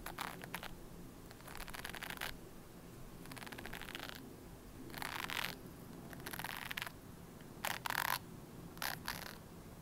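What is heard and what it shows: Long nails scratch the white bristles and plastic body of a red plastic hairbrush. Short bursts of bright, raspy scratching come and go with brief pauses between them, over a faint low background hum.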